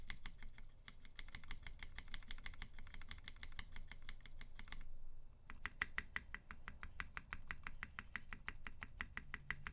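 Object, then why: Mechanical keyboard with plastic keycaps and aluminium case. A tenkeyless UTD 360C mechanical keyboard with a gummy-worm mount, Vintage Black switches lubed with 205g0 and filmed, white PBT keycaps and a silver aluminum case is pressed key by key with one fingertip, including the large right-side keys and the spacebar area. A steady run of short, sharp clacks with a bright, hard attack and almost no ring plays over a low background rumble. The clacks pause briefly around the five-second mark before resuming in a more evenly spaced rhythm.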